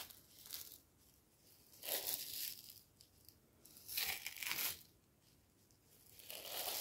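A medium clear jar, likely plastic, with a black screw lid, labelled Green Jasmine Tea and nearly full of dry loose tea leaves, is held in one hand and shaken and tilted. The leaves give soft, bright, hissing rattles that swell and fade in uneven bursts between quiet pauses.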